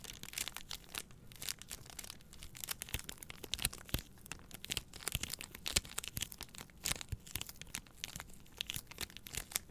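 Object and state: Plastic-wrapped paper towel rolls.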